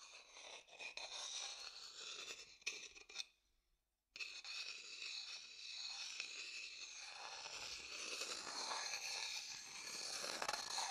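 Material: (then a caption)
Wood. A wooden stick scrapes and rubs around the inside of an empty, medium dark-brown hollow wooden bowl, making a bright, dry scraping and crunching texture. The scraping breaks off into near silence for under a second, then resumes as a steady rub that grows slightly louder toward the end.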